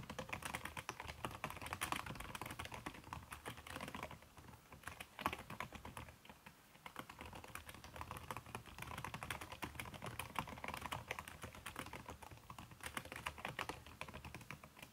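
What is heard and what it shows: Fast fingertip typing with long red-painted nails on a backlit aluminium laptop keyboard fitted with a red silicone skin over its plastic keys. A dense, steady stream of short, soft clicks and taps continues with no gaps, dipping briefly around the fifth and sixth seconds before picking back up. Each keystroke is muted and quick-decaying, with a papery upper-mid tone and some bright clatter on top.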